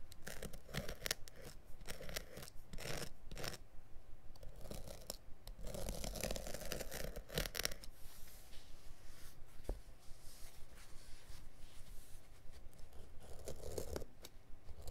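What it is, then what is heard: Carpet backing being cut with a blade. A blade scratches and cuts along the near edge of a carpet piece lying backing side up, woven/felt underside showing, on a cutting mat. Irregular, dry scraping and tearing strokes come in quick bursts with brief quieter gaps and a rumbly low end. The sound fades near the end.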